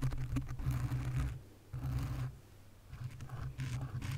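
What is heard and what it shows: Long nails tap and scratch a black foam windscreen on a condenser microphone, making dense, muffled rumbling scrapes with a strong low-end boom. The scratching comes in bursts with brief quieter pauses between them.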